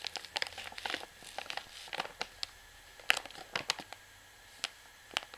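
Long nails tap and scratch the printed label on the back of a full white plastic washing powder pouch held up in the hand, crinkling the plastic. A quick, irregular series of sharp, bright taps and crackly scratches is heard, each dying away almost at once, with quiet gaps between them and almost no low end.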